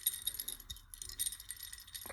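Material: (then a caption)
Metal. A metal Tange Switchblade suspension fork arm is shaken, giving a bright, jingling rattle from something loose inside the arm. The loose piece can't be shaken out or seen, so the fork is faulty and won't be listed for sale.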